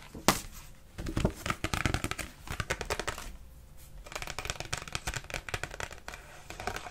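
A single thin, flat, glossy paper Christmas greeting card showing a snowy village and a horse-drawn sleigh is held up in both hands and tapped rapidly with long pink acrylic nails. The result is a fast stream of short, crisp clicks with a papery, crinkly edge, coming in dense bursts separated by brief quieter pauses.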